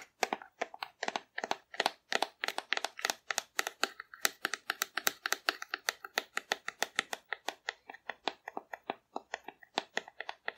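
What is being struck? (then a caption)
Cardboard dinosaur figure. Long nails rapidly tap and scratch the body of a hollow painted cardboard dinosaur held upright. About sixty quick, dry, papery taps come in a steady run, each bright and crisp with almost no low end. Every tap dies away instantly with no ring.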